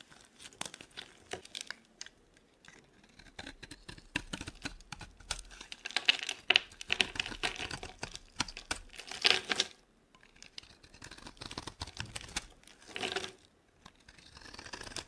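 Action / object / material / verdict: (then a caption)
scrape / bar of soap cut with a blade / soap / none. A utility knife blade slices thin curls off a dry, solid blue Nivea soap bar held in the palm. Dense, crisp, bright scraping and crackling comes in bursts of rapid strokes, with short quiet pauses near 2.5 and 10 seconds.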